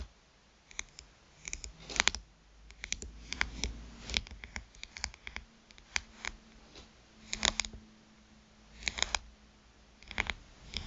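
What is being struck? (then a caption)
Smartphone glass screen tapped with fingernails. Long nail tips tap the glass screen of a small black smartphone lying face up, producing bursts of sharp, bright clicks in quick clusters with pauses between them. Each tap is crisp and dry with almost no ring, over a faint low hum.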